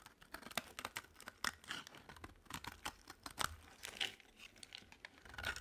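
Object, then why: Bar of soap scraped with a blade. A solid green-and-white striped bar of dry soap is held in the hand and scraped into chips with a utility knife blade. It makes a rapid run of short, dry, crackling scrapes that are bright and crisp, with almost no low end and no ring after each stroke.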